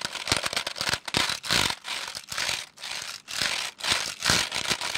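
Fingertips tap and type on the plastic keys of a full-size black plastic computer keyboard with a hollow case, held up by hand. The result is an irregular run of dense, bright, crackly clicks and taps in short bursts, separated by brief pauses.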